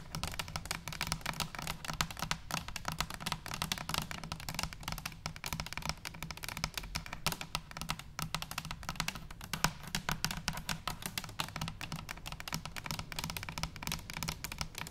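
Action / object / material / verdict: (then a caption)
tap / stainless steel cylinder canister / stainless steel / none. Long nails tap rapidly and continuously on top of a hollow stainless steel cylinder canister lying on its side. The taps are crisp, bright clicks with a low, hollow resonance underneath. Each tap dies away almost instantly, so the sound is a steady, dense patter for the whole clip.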